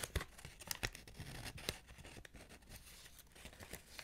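A small stack of paper or polymer banknotes held in the hands is flipped, rubbed and crinkled by long-nailed fingers. Soft, irregular crackles and rustles are heard, with a few sharp, bright snaps at the start that settle into a quieter, steady crinkling.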